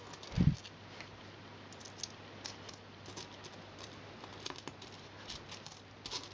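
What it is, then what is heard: Pile of metal coins. Fingertips and nails sort and push together a pile of mixed copper and silver metal coins on carpet. Soft, bright clicks and light taps are heard as the coins knock against each other, with one duller, heavier knock near the start. A steady low hum sits underneath throughout.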